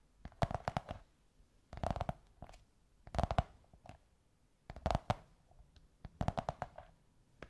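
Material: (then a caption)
Cardboard. Long white nails tap and scratch on a curved beige kraft cardboard tube in five quick flurries separated by short pauses. Each tap is dry and hollow, with a low, muffled body and almost no ring, while faint scratchy brushes appear between the clusters.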